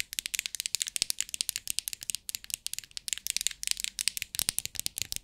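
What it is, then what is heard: Plastic box of rhinestones. Long acrylic nails tap the lid of a clear plastic compartment box filled with rhinestones in a rapid run of about 37 fast taps while the box is tilted so the stones rattle inside. The sound is bright, crisp clicking and clattering with almost no low end, each tap cutting off almost instantly.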